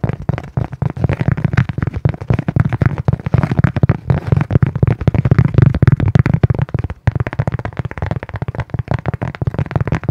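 A flat, round, solid brown cork coaster about the size of a palm is held in both hands in front of the microphone while fingernails tap and scratch its surface. The result is a fast, dense stream of dry, dull taps and scratches that are heavy in the low end and die away at once, with a brief gap about seven seconds in before the rapid tapping resumes.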